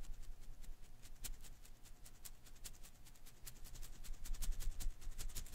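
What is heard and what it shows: A palm-sized blue and green Koosh ball made of thin rubber filaments is held in one hand while fingertips flick and scratch through its strands. The result is a quiet, steady patter of soft, bright, crackly flicks over a faint low rumble. The flicks grow a little louder and denser toward the end.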